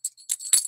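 1923 Peace dollar coins of 90% silver are jingled together, giving bright, high-pitched, bell-like clinks that ring briefly. The clear ring marks them as real silver money, in contrast to later clad quarters that sound cheap.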